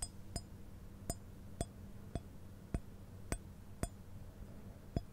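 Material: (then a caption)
Ceramic. A small white glazed ceramic sitting deer figurine with gold antlers is held up and tapped with the fingernails. Nine light, sharp clinks come at uneven intervals, each dying away almost instantly, over a faint steady low hum.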